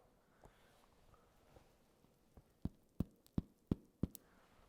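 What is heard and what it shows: Freshly baked focaccia is tapped several times: a few faint taps, then five louder, short, dull, hollow thuds with almost no ring. The hollow sound shows the bread is full of air, well risen and baked through, and it comes off the bottom of the pan easily.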